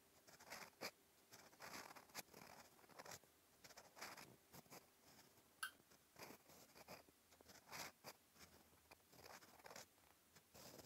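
A fine steel fountain pen nib scratches continuous handwriting strokes across a flat cream lined paper notebook page. The sound is a quiet, dry, bright scratching in short bursts separated by brief pauses, with little low end.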